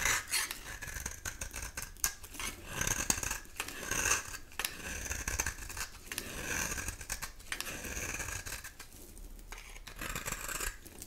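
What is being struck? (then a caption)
Bar soap. A utility knife blade cuts into a solid rectangular bar of dry soap with a black surface, held in the hand, scraping and shaving it to expose the olive-green interior. Dense, crisp scratchy crunches and shaving strokes follow one another quickly, bright and high in tone with little low end. The strokes vary in loudness, with sharper snaps standing out among the continuous scraping.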